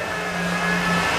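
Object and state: Nothing is struck.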